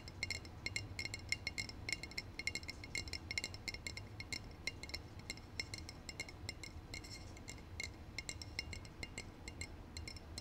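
Fingertips and short painted nails rapidly tap a brown glass beverage bottle held upright in both hands. The taps make bright, short glassy clinks pitched around 2 kHz that die away almost instantly, over a faint low hum.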